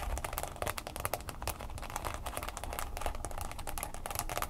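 A smartphone in a mint green plastic case stands upright on a table while its sides are tapped and scratched quickly with long fingernails. The result is a dense, continuous stream of sharp plastic clicks with very short ring, mixed with scratchy rasps and a faint low rumble underneath.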